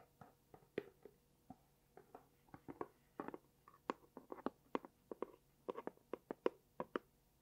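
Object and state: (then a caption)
Cardboard gift box. A small pink dotted cardboard gift box with a label, which looks hollow, is tapped and scratched with long painted nails while it is turned flat and upright in the hands. The result is a quiet, irregular run of short, dry, hollow-sounding midrange taps with almost no ring, mixed with soft scratching between them.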